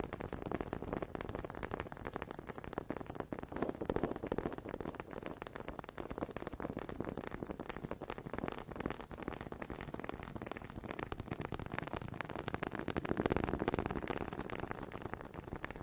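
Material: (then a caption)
Wood. Long nails tap and scratch the ridged head of a small, solid wooden honey dipper held in one hand close to the microphone, possibly with a second dipper clacking wood on wood. The result is a quiet, dense, rapid stream of short, dry clicks and scratchy rasps centered in the low-mid range, with no ring, swelling slightly louder near the end.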